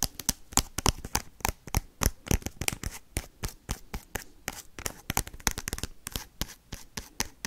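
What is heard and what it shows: Paperclips worn on the fingertips rapidly tap and scratch the crinkly foil wrapper of a small, sealed Pokemon trading-card booster pack held in the hands. About 35 sharp, dry taps come in a fast, uneven rhythm, each a broadband click with a bright foil crackle that stops almost instantly, with faint scratchy rustling between them.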